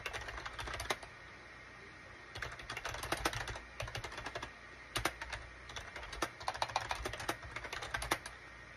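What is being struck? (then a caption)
Plastic computer keyboard. Fingertips type on a full-size gray and cream SHIPADOO K600 wired USB plastic keyboard with a hollow plastic case, resting on a desk mat. Bursts of quick, clacky keystrokes with sharp, bright tops and a hollow plastic body are broken by short pauses, including a longer gap near the start. Each keystroke dies away almost at once over a faint steady hum.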